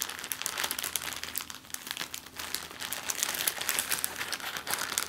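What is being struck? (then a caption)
Thin plastic zip-lock bag. An empty clear plastic zip-lock bag is pressed flat, then rolled and squeezed in both hands by long-nailed fingers. The result is a steady stream of bright, dense crinkling with many quick crackles and almost no low end.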